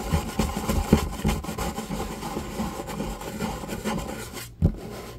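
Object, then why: Wooden table top. A flat, light, solid wooden table top is tapped and scratched with the fingertips and short nails of both hands. Low, dull knocks with a short ring sit over a steady dry rubbing and scratching. A brief pause comes near the end before one final sharp knock.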